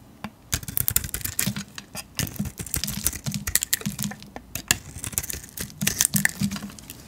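A metal blade shaves flakes off a solid tan painted soap bar held in the hand. The result is a quick run of crisp, bright scraping strokes with sharp clicks and no ring, over a faint low hum.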